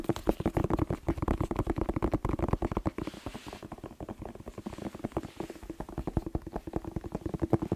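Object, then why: Bell pepper. A whole, fresh, hollow red bell pepper is tapped rapidly with fingertips close to the microphone. Quick, dull, hollow knocks with a low, resonant tone near 320 Hz blur into a steady drumming rhythm. The taps die away almost instantly and carry little high-end brightness.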